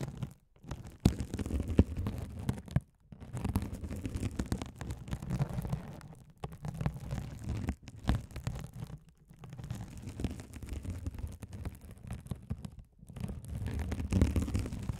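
A hand-sized blue glitter mesh scouring sponge with a sparkly woven mesh cover, soft and solid, is held over the microphones and scratched by a rolling gold metal spiked roller. The result is a dense, muffled, low-heavy scratching and rumbling texture in long bursts broken by brief pauses, with little high-end content.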